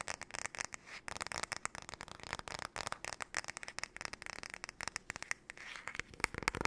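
Long nails tap and scratch rapidly across the back and handle of a flat, paddle-shaped solid wooden hairbrush held sideways. The result is a dense, irregular stream of dry, crackly clicks with a bright, high edge and almost no low end. Each tap stops short with no ring.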